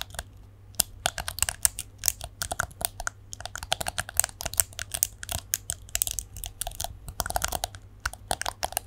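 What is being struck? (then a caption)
Plastic hairbrush. Long nails flick the plastic bristles of a plastic detangling hairbrush held in both hands, producing rapid, bright, dry clicks in irregular bursts. Each click is sharp and dies away almost instantly over a faint, steady low hum.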